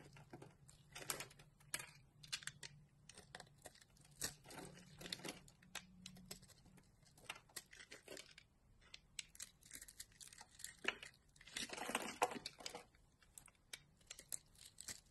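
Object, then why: Bar of soap carved with a blade. A metal utility-knife blade shaves and carves the patterned surface of a solid rectangular green soap bar held in one palm by a hand with long glittery purple nails, piling up green shavings. Quiet, crisp, bright scraping and crackling strokes come in quick bursts with short, dry tails. Denser, longer scrapes swell near the end.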